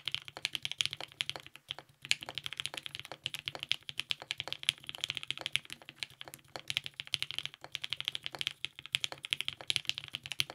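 Continuous two-hand fingertip typing on a compact TGR 910 RE mechanical keyboard with lubed 55g Nixie switches, a polycarbonate plate and purple GMK ABS keycaps. A dense stream of short, bright, clacky keystrokes with almost no ring and little low end is heard, pausing briefly near 2 and 7.6 seconds.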